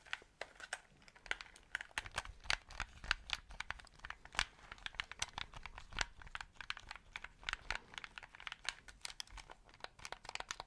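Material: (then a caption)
Plastic. Fingertips press the buttons and tap the casing of a white, hollow plastic game controller held close to the mic. The result is a quiet, steady stream of rapid, dry clicks and taps, each one sharp and bright and dying away almost instantly.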